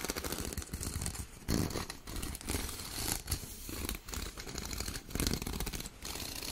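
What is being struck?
Corrugated plastic pop tube toy.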